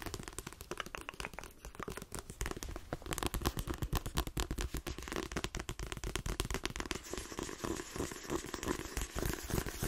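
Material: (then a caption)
Paper, card. Fingernails rapidly tap and scratch the page edges and spine of a paperback book with a glossy card cover. The result is a dense, continuous stream of quick, dry clicks and scratchy rustles with a dull, low body and bright crackly edges.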